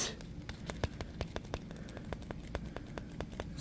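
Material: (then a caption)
Plastic. A small, clear 500 ml Poland Spring plastic bottle, capped and apparently empty, is held in one hand while the thumb taps and squeezes it. A steady run of short, sharp, bright clicks sounds over a low, soft rumble. Faint crinkles of the flexing plastic sit between the taps.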